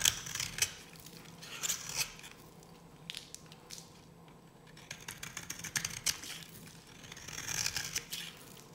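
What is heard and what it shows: A solid, dry pink bar of soap held in the hand is carved and scratched with a metal blade, shedding powder and flakes. Bright, crisp scraping and crunching strokes come in bursts, some sharp and others longer and grainy, with quiet pauses between.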